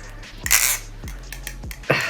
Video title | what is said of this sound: Baliplus Replicant (REP CLONE) Review | I don't want to mess with that because it sounds good listen to that